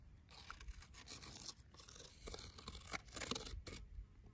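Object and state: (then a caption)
Dead wooden tree branch. A thin twig taps and scratches along the surface of a solid dead tree branch, tracing wood worm corridors in its partly peeled, cracked bark edge. Quiet, dry scraping and rustling are broken by short, crisp taps with bright, crackly detail. The taps stop instantly, with no ring.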